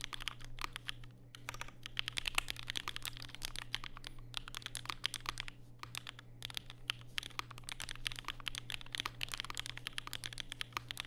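Fingertips type continuously on a compact black Vega mechanical keyboard with plastic keycaps and Durock POM switches, resting on a desk mat with a white wrist rest. Rapid, crisp clacks come in a dense stream with a bright click around 2.7 kHz and almost no ring after each stroke. A steady low hum sits underneath throughout.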